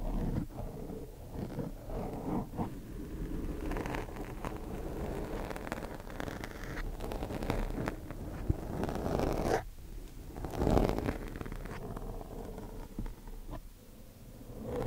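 The tips of thin wooden chopsticks scratch across a black foam microphone windscreen, making a close, continuous rustling scrape that is heavy in the lows and muffled, with almost no bright content. The scratching swells and eases throughout, with a louder, rougher burst near the middle before settling back into steady friction.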